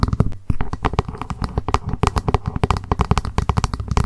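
A small hollow plastic lunch box is held upright and tapped fast with long pointed acrylic nails on its top edge and lid. The result is a dense run of short, dry clicks with a hollow low thump, over faint background hiss.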